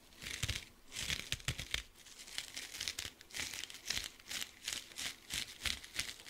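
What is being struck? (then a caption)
Cellulose kitchen sponge with scouring pad. Fingertips and nails scratch and squeeze a small, dry, soft blue kitchen sponge, with a cellulose side and a scouring-pad side, close beside the microphone. The result is bright, crinkly scratching in quick repeated swells of rustle, with faint low thumps under the brushy high hiss.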